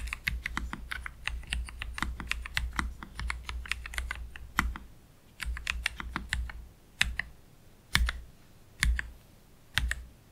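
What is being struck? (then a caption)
Low-profile mechanical keyboard, plastic keycaps. Slow fingertip typing with both hands on a black Keychron K3 Pro low-profile mechanical keyboard with Gateron Red low-profile switches and plastic keycaps, resting on a desk mat. A steady run of short, bright keystroke clicks over a low hum thins after about five seconds into sparser, separated key presses with quiet pauses, as one hand moves away at the end.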